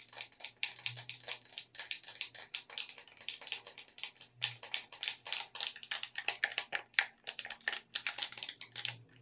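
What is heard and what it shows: A black plastic gamepad is tapped in close-up by long red nails that click its buttons and tap its shell. Rapid, dry, bright clicks and taps come in quick uneven bursts, each dying away almost instantly, with a faint low hum underneath.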